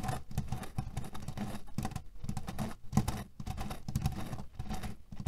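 Fingernails scratch quickly across a cotton pillow filled with cherry pits, producing a dense, rapid patter of soft rattling and scratching. The sound comes in bursts separated by brief pauses and sits mostly in a low, muffled range with little brightness.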